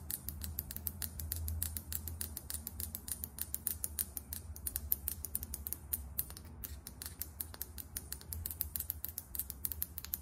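Long acrylic nails tap fast on a small, filled foundation bottle with a matte plastic cap, giving a quick, steady stream of sharp, bright clicks that stop almost instantly. A low, steady rumble sits under the taps throughout the clip.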